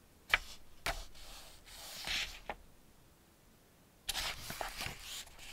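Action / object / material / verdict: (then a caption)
scrape / hardback picture book with paper pages / paper / none. Hands flip the paper pages of an open Ladybird hardback picture book back and forth and rub them with their fingertips. Four crisp, bright paper snaps are heard, separated by soft, hissy rustling and rubbing, in a quiet setting.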